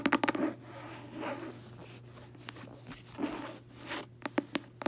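Long nails scratch and rub along the textured cloth cover and spine edge of a closed red hardcover book. The result is dry, raspy scraping with soft rubbing, broken by sharp ticks at the start and end.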